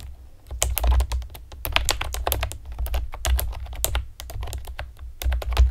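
Long painted nails and fingertips tap rapidly on a pastel plastic typewriter-style computer keyboard with round retro keycaps and hollow keys. A quick, uneven stream of sharp, bright plastic clicks and clacks plays over a steady low hum. Each click dies away almost at once.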